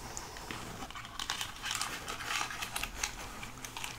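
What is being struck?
Plastic skeleton hand prop.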